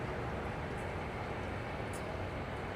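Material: Nothing is struck.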